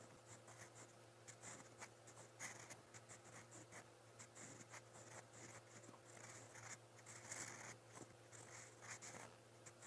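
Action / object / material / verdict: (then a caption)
scrape / steel pen nib on paper notebook page / paper / none. A steel fountain pen nib scratches across a lined white page of a spiral notebook while writing in brown ink. Soft, bright scratching strokes come in quick, uneven bursts over a faint steady low hum, with the level staying quiet throughout.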